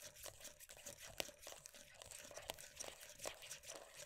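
Long dark nails tap and scratch the lid surface and rim of a closed, full, round plastic moisturiser tub. The result is a quiet, fast run of dry, bright clicks and crinkly scraping, with a few sharper taps standing out over a faint hollow tone near 600 Hz.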